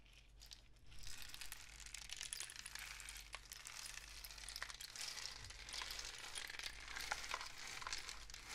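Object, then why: Pellet-filled cardboard rain stick. A long, hollow painted cardboard rain stick with a mesh-wrapped end, filled with pellets, is held horizontally and tilted by hand, with fingers gripping the end. After a quiet first second, a dense, bright cascade of pellets patters and crackles steadily through the tube to the end, over a faint low hum.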